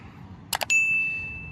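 A metal two-dollar coin, found in a melting snowbank, gives two quick clicks and then a clear, high ding. The ding rings on as a steady tone for nearly a second, fading slowly against a faint low outdoor background.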